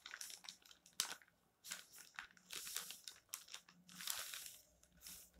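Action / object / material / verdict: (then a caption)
scrape / thin paper magazine pages / paper / none. Fingertips rub across the pages of an open paper magazine resting on a stack, one with a text page and a dark photo page, then lift a page corner. The thin paper gives off bright, close crinkling and rustling in uneven bursts, with short sharp crackles and quiet gaps between them.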